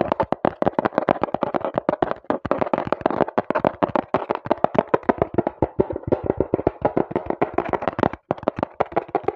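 A small, hollow brown cardboard box is held in both hands over the mic while fingers tap and knock quickly on its flat faces. The result is a fast, dense stream of dry, hollow, mid-pitched thuds that die away almost instantly, with one brief gap just past the eight-second mark.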